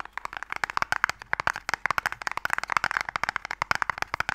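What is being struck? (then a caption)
Small wooden stick box. Fingernails scratch along a small, closed, pale wooden Mikado box, a hollow box that holds the game sticks. A dense run of quick, dry, clicky scrapes and ticks with a woody midrange tone sits over faint background hiss. The strokes are short and sharp, with almost no low end and no ring.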